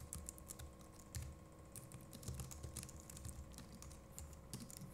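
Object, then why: Plastic computer keyboard. Fingertips of both hands type rapidly on the plastic keycaps of a compact Logitech MX Keys Mini keyboard. A quick, uneven stream of soft, low thumps comes with short, bright clicks that fade almost at once, over a faint steady hum.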